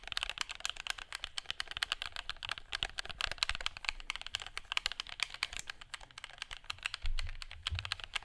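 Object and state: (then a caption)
Plastic game controller. A black plastic gamepad is held in both hands while fingertips quickly click its buttons and tap the casing. The result is a dense run of sharp, bright plastic clicks with almost no ring, plus a brief low thump near the end.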